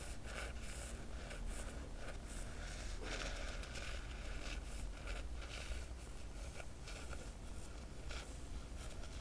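Long fingernail traces run along the foil dragon emblem on the black cloth cover of a large hardcover book. They make a continuous, soft scratchy rustle with bright streaks over a steady low rumble. The level stays even, with no separate hits.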